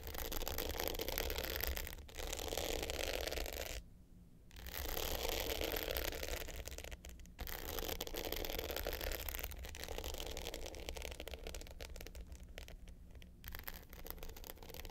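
Long pointed nails scratch the dark blue glitter top of a small, rectangular, hollow hard-case clutch with a gold metal frame, lying flat. The result is a dense, gritty, rapid scraping with a bright hiss and a low hollow undertone. It runs steadily, with short pauses around 4 and 7 seconds.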